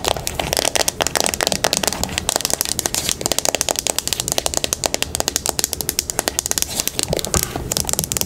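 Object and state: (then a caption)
Plastic hairbrush tapped and scratched. Long pink nails tap and scratch a teal plastic paddle hairbrush with black bristles as it is turned over in the hands, working over both the bristles and the plastic back. Rapid, crisp clicking taps and dry scratchy crackles run continuously with no pauses, sharp and bright with almost no low end or ring.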